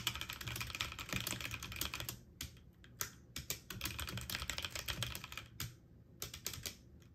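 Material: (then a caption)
Plastic. A full-size backlit mechanical keyboard with plastic keycaps on an aluminum frame is typed on quickly with fingertips and short painted nails. Dense bursts of bright, sharp clicks and clacks come in rapid repeated key presses, with low thock under some strokes and brief pauses between runs.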